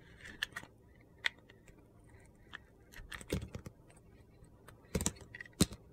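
A utility knife shaves orange slices from the side of a solid orange soap bar with a purple glitter crust, held in the hand. Quiet, short, crunchy scraping cuts come in separate bursts against near silence. The sharpest, brightest cuts stop dead with no ring.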